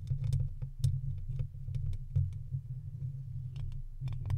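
A long thin wooden stick's tip scratches and taps the hollow metal mesh grille of a silver microphone. The result is a steady low rumbling scrape, broken by quick clicky taps that spark faint bright ticks.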